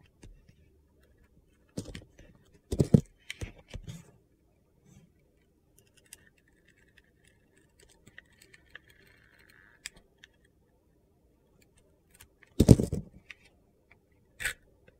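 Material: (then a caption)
Soap. A utility knife cuts the crunchy turquoise sugar-glitter crust off a solid white soap bar held in the hand. Short, gritty crunching scrapes come in quick bursts near the start and again near the end, with faint scattered ticks in between. The sound is quiet and low-heavy, and each cut stops dead with almost no ring.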